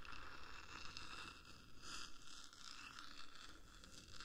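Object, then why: Metal microphone body. Long acrylic nails of both hands scratch and tap along the top of the hollow black metal body of a 3Dio binaural microphone, about 10 cm long. A continuous bright, gritty scraping runs throughout over a deep low rumble, with soft taps rising briefly out of the texture.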